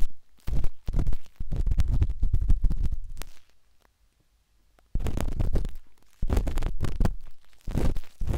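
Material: Silicone.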